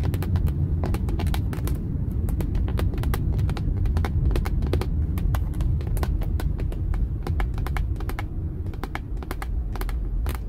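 Long acrylic nails tap rapidly on the hollow, dark moulded plastic airbag cover of a car steering wheel, making quick, uneven clicks. A low, steady vehicle hum runs underneath throughout.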